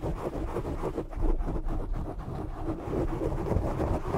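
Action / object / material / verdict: scrape / foam microphone windscreen / foam / none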